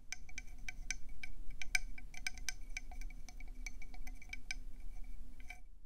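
Long painted nails tap fast on the ridged surface of a hand-sized, hollow, cream and brown speckled conch shell held in both hands. About twenty quick, irregular clinking taps each give a brief, bright, glassy ring pitched around 2.3 kHz that dies away almost at once. A steady low rumble runs underneath.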